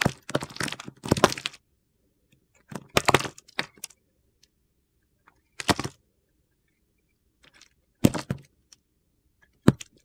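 A solid green bar of soap, held between fingers with long red nails, is sliced and shaved with a utility knife blade. Short, dry crackling scrapes come in several separate bursts with quiet gaps between them, each cut sounding crisp and bright with a gritty crunch.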